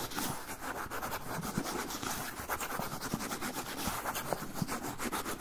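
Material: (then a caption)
Paper. Fingernails scratch and rub along the surface and edge of a medium-sized brown kraft paper pouch with labels, held up. A steady, dense papery scratching and rustling with rapid bright strokes and soft crinkles runs throughout at an even, quiet level.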